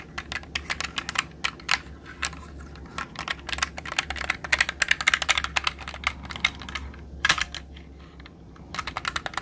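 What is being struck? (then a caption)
Plastic mechanical computer keyboard. A jade roller is rolled across the plastic keycaps of a black mechanical computer keyboard held upright in front of the mic, clicking the keys. Rapid, irregular, bright clicks centered near 2.1 kHz come in dense clusters over a faint steady low hum, with a brief quieter gap before the clicking resumes near the end.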